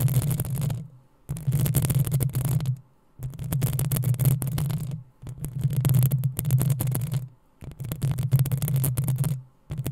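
Long nails scratch the hollow metal mesh grille of a black desktop microphone in six bursts of rapid, rasping scrapes separated by brief silences. Each burst carries a heavy, booming low rumble under a crackly, bright scratching texture.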